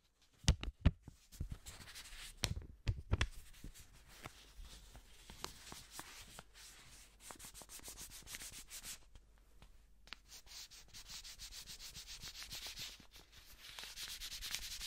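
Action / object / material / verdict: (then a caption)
scrape / paper banknote / paper / none. A single thin blue paper banknote is rubbed and folded between black-gloved fingers close to a microphone. A few sharp crisp crackles and snaps come first, followed by a steady soft, dry rustling and brushing with a bright papery hiss that grows louder toward the end.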